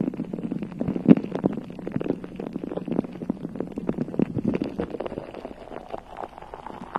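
Long nails of both hands scratch and tap across a bare, hollow, round metal mesh microphone head. The result is a dense, continuous run of muffled crackling scratches and soft taps, centered in the low mids with no bright top end. One sharper, louder tap stands out about a second in.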